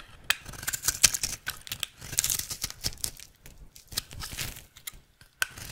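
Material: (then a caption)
Soap. A utility knife blade carves flakes off a rectangular, solid, dry red soap bar held in the hand, with a scraping, cutting action. The sound is a quick series of crisp, bright scrapes and crackling cuts, with little low end and sharp short snaps between softer shaving passes.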